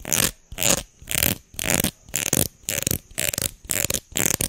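A solid red plastic hair comb is held in both hands while fingers and nails scratch and flick along its teeth. Ten short, bright, rasping bursts follow one another at a steady pace, with quiet gaps between strokes.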